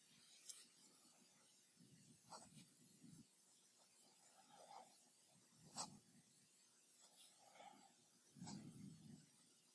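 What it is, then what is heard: Fountain pen nib scratching on notebook paper. A metal fountain pen nib scratches across a lined paper sheet in a spiral-bound notebook lying flat on a desk, writing cursive weekday names while the other hand steadies the page. Quiet, dry scratching and rubbing strokes come in irregular bursts, with brief bright nib clicks, faint squeaks around 840 Hz and low papery rustles between the words.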